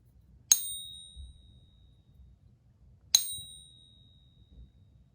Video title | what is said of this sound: Fake Eagles from eBay - user caught, reported, and was fully refunded | The 2021s have that tight little vibration going on. Really pretty sounding coin. So that's a real one.